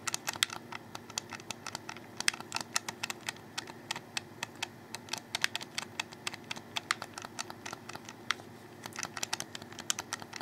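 Fingertips rapidly click the triggers and bumpers of a black, hollow, handheld plastic Xbox 360 controller and tap its underside. The result is dozens of quick, dry, bright clicks and taps with almost no ring, scattered irregularly over about ten seconds above a faint low background.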